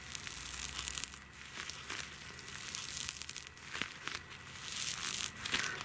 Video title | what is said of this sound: Outside The Tiny House & Strange Electricity | listen to how crispy this sounds